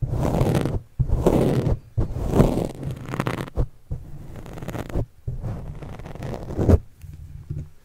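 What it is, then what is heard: Pen scratching a foam microphone windscreen. A white stylus pen scratches and writes across a black foam windscreen on a microphone in fast strokes. The result is bursts of rough, muffled scraping with heavy low rumble, separated by brief pauses.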